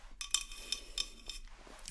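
A large handmade ceramic vase with a raw, unglazed clay base is tapped lightly several times. The taps give bright, short clinks with a dish-like ring that fades almost at once.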